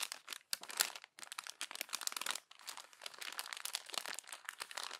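Fingers with long nails crumple a page of an open glossy paper magazine along the spine and smooth it flat. Dense, bright crinkling and crackling fills the clip, with brief pauses near 0.5, 1.1 and 2.5 seconds. The sound has almost no low end.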